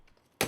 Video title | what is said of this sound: 신비한 물질, 유리 | 일반 유리의 경우 산산조각이 납니다.